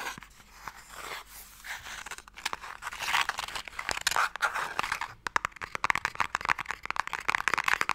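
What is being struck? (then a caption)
Narrow wooden box. A narrow, hollow wooden Mikado box is tapped and scratched with fingernails while held in various orientations. Soft scratching and crinkly rubbing in the first seconds give way to louder, rapid, dry clicking taps and scrapes, bright and midrange with almost no low end. Each tap dies away almost instantly.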